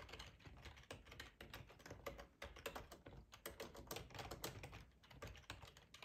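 Fingertips type steadily on a black plastic, hollow-bodied split ergonomic computer keyboard. Quick, dense key taps come with a light clack and a low hollow thump from the body, and each tap dies away almost at once.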